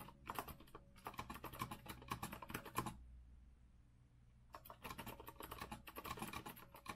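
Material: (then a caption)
Plastic keycaps. Continuous fingertip typing with both hands on a compact retro Azio mechanical keyboard with a rose-gold metal frame and round plastic keycaps, resting on a wooden desk. Rapid, crisp clacks with a low thock and a bright click run steadily, pause for about a second and a half of quiet, then resume.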